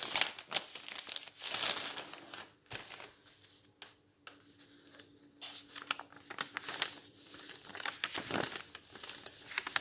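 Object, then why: Bound volume of old paper magazines. A palm and fingers rub and press a page of a bound volume of old paper magazines flat on a table, then grip and turn it. The result is a strong, bright paper crinkle with rustling, crackling bursts and brief quiet gaps.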